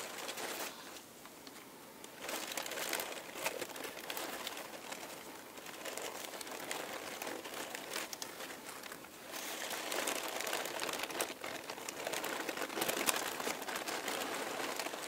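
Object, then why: Pile of thin tissue paper. A pile of thin, light purple and pink tissue paper sheets, crumpled and heaped on a table, is pressed, rubbed and crinkled with the fingertips of both hands. The result is a steady, bright, dry crackling rustle that swells and eases, with brief quieter lulls near the start and around the middle.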